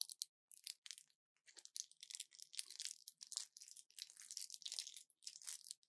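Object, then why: Plastic and foil blister pack. An orange plastic pill blister pack with foil backing is gripped in both fists, twisted and crushed. It makes dense bursts of bright, crisp crackling and crinkling with no low end, in short clusters separated by brief pauses. The snaps stop dead with no ring and stay fairly quiet throughout.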